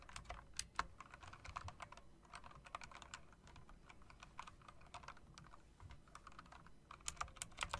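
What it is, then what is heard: Mechanical keyboard typing. Fingertips with long dark nails press and tap the round, chrome-rimmed keycaps of a backlit plastic and metal typewriter-style mechanical keyboard. The result is a steady run of quick, dry clicks with bright, sharp attacks that stop almost instantly, over a faint low background hum. A few louder clacks stand out near the start and in a denser burst at the end.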